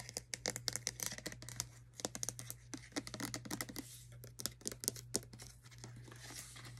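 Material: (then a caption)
Plastic. Long acrylic nails and fingertips tap and scratch the body and gold cap of a hand-sized OGX shampoo bottle, a hollow white plastic bottle that appears filled. Rapid, bright, dry clicks and taps come in uneven bursts, mixed with soft scratching, over a steady low hum. Each tap stops almost instantly with no ring.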